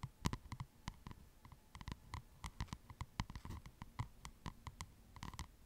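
Long nails and fingertips tap and scratch the cardboard cover of a white spiral-bound paper notepad held upright close to the mic. Quiet, rapid, irregular clicks and short soft taps ring with a bright tick on top and a dull low thud beneath. Faint scratchy rustles fill the gaps between them.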